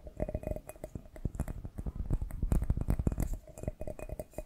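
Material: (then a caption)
Glass. Fingertips and short nails tap and scratch the surface of a small, hollow, empty clear glass bowl or dome with white printed markings, held close to the microphone. Quick, dense taps land as soft, low thumps over a faint bright glassy ring and scratchy hiss. The tapping speeds up and grows louder in the middle before easing back.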